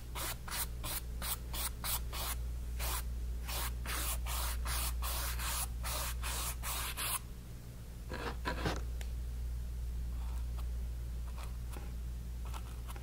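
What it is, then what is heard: Cotton canvas being painted. A flat bristle paintbrush held in the fingers is stroked and rubbed across a small stretched white cotton canvas on a wooden frame, lying flat on a table and covered in wet orange acrylic paint. Quick, bright, bristly swishes repeat in a steady back-and-forth rhythm for about seven seconds, then give way to softer, sparser strokes over a constant low hum.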